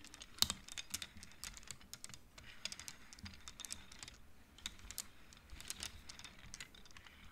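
Fingertips and long nails slide the colored wooden beads along the metal rods of a large wooden-framed abacus. The result is a quick, uneven run of short, dry, bright clacks with almost no ring, over a soft low rustle.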